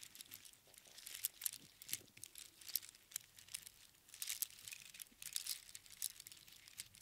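A heap of small hollow seashells strung on string is held in both palms and gently shaken and rolled. The shells clatter against each other in quick, dense, crinkly bursts of bright, high clicking with almost no low end. The bursts rise and fall in irregular waves throughout.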